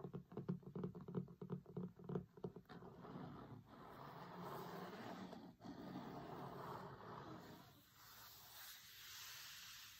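Fingertips and short nails tap and scratch a large closed hardcover cookbook with a grey linen cloth cover, lying flat on a table, working over the cover and its photo area. A quick run of dull, soft taps opens the clip, then gives way to a steady, dry scratching and rubbing across the cloth that fades slightly toward the end.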